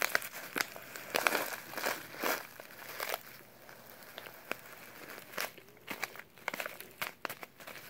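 A small, filled brown kraft paper instant oatmeal pouch is crinkled and rubbed by latex-gloved fingertips. Bursts of dry, bright crackling and crinkling alternate with softer rustling and sharp, quick ticks, with almost no low end.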